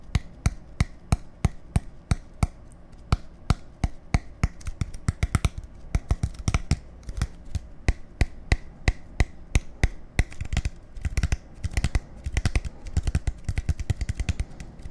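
A clear, hollow plastic bottle of about 0.5 L with a dark cap is tapped and scratched with fingertips. A steady stream of short, dry taps with a deep hollow thump and a bright click fades almost instantly, with faint scratching between them. After about ten seconds the taps come quicker and denser.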